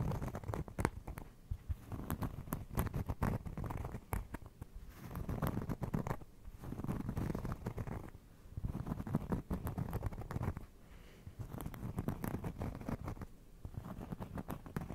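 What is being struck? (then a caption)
Cork trivet. A round, flat, solid cork trivet held beside the microphone is scratched and tapped with fingertips and nails. The result is a soft, low, dull patter of dense scratching and quick tapping in bursts, with quieter pauses between them.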